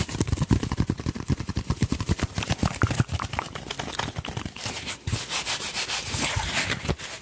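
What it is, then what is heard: Paper tissue being rubbed and crumpled. A folded white paper tissue, thin, soft and light, is held in both hands close to the microphone while the fingertips rub and crumple it. The result is a dense run of quick, soft crinkling and rustling bursts with a low thump under each, turning into a brighter, hissier crackle toward the end.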